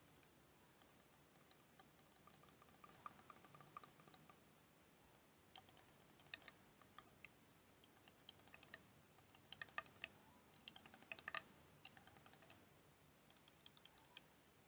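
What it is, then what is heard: Plastic liquid motion timer. A clear plastic liquid motion timer toy with blue liquid and yellow wheels is tapped and clicked with long dark nails. Quiet, irregular, sharp bright clicks come in loose clusters, each dying away almost instantly over a faint hiss.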